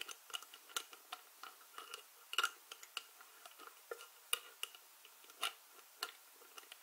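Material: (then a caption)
Plastic. Long-nailed fingers grip, twist and scratch the white plastic screw lid of a small glass spice jar full of dried herbs. About two dozen quick, dry clicks and ticks come in an uneven run, bright and crisp with almost no low end, with faint scratchy rasps between them. Each click stops almost instantly, with no ring.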